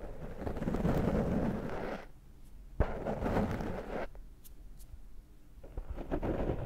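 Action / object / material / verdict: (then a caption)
scrape / foam microphone windscreen / foam / none. Fingertips scratch and rub the surface of a large dark foam microphone windscreen held in one hand. The result is dense, low, rumbling scratching in three bursts, separated by quieter pauses. A sharp tap marks the start of the second burst.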